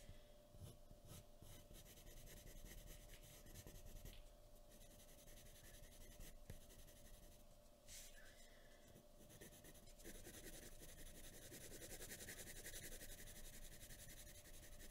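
A pencil tip draws small scratching strokes on a flat white paper sheet resting on a wooden table. Soft, quiet, continuous scratching and rubbing with a bright, papery hiss runs throughout over a low background rumble, swelling slightly toward the end.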